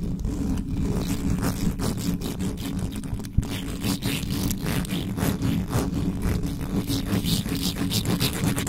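Long yellow nails and fingertips scratch and rub fast over the hollow metal mesh head of an uncovered black condenser microphone. The result is a dense, continuous low rumble with a steady hum near 117 Hz, broken by rapid bright scratchy streaks and one sharp click about a third of the way through.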